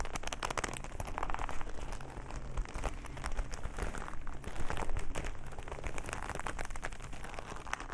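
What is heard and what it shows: Bare fingertips squeeze, rub and scratch a single soft, hollow black leather glove held in front of the body. The result is a steady stream of close, dry creaking and crinkling with many quick scratchy ticks over a low, muffled rumble. The sound stays at an even, quiet level throughout.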